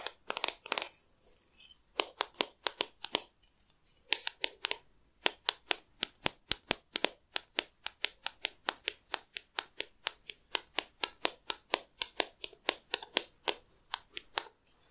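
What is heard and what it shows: A solid wooden hair comb is held horizontally in both hands while the thumbs and fingernails flick and tap its teeth. The result is a long run of sharp, dry, bright clicks and ticks with almost no ring and no low end. They come in quick bursts at first and then settle into a steady, fairly even rhythm.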